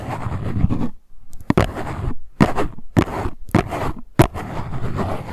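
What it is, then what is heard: Cardboard box scratched and tapped with nails. A small printed cardboard box of LuLuLun Cleansing Balm is held in both hands while long white nails scratch and tap its top and sides. Dense, low scraping runs in bursts between brief quiet gaps, and sharp tapping clicks stand out among them.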